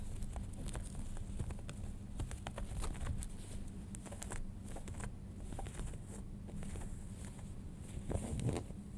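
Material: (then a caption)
Denim. Manicured nails scratch and rub folded light-wash denim jeans near the waistband and button. The result is a steady, soft scratching texture with faint crackly ticks over a dense low rumble and a thin bright hiss, swelling slightly near the end.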